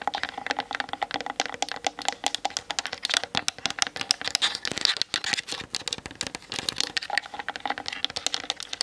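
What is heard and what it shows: Long nails on both hands tap fast on the hollow plastic body of a Canon DSLR mounted on a tripod. The result is a dense, continuous patter of sharp, bright clicks with almost no low end, each tap dying away instantly.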